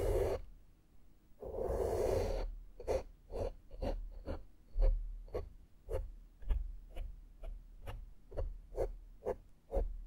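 A small flat makeup brush with a metal ferrule is brushed across a black foam microphone windscreen. Two longer, breathy sweeps come first, then a steady series of short, soft, scratchy strokes, each with a dull low thump and a bright brushy hiss.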